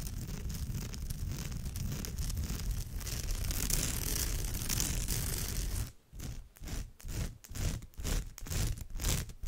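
Long nails scratch across the rows of a woven straw bag's surface. A steady, dense, rough scratching with a bright, crackly texture runs for about six seconds. It then breaks into a series of shorter, separate scratching strokes.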